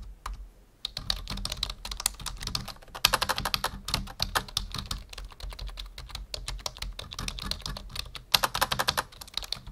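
A full-size black plastic membrane keyboard on a wooden desk is typed on with the fingertips of both hands, producing a rapid, steady stream of short, bright plastic key clacks with no ring. Typing starts after a quiet first second, runs continuously over a faint low hum, and picks up in louder flurries around three seconds and again near eight seconds.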